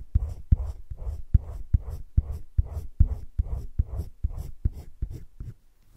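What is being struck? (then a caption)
Coloured pencil on thick drawing paper. A hand rubs a teal colored pencil in small strokes around a drawn droplet on thick cream drawing paper in a spiral-bound drawing book lying flat. About fifteen soft, dull scratchy strokes follow one another at an uneven pace, each a short low rasp that stops without ringing. The last stroke fades out quieter.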